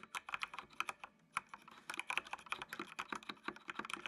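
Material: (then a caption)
Plastic. Fingertips type on a full-size black plastic mechanical computer keyboard with RGB backlight. Keystrokes come in quick, uneven bursts of sharp, bright clicks with almost no ring and a brief pause near the middle.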